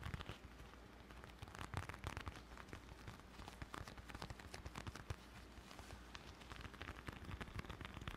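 A small brown leather bifold wallet with stitched edges is held closed in both hands in front of a microphone and tapped and scratched with fingertips and short nails. Dense, quick crackling taps and dry scratching scrape the leather continuously, with bright clicks over a steady low hum near 78 Hz.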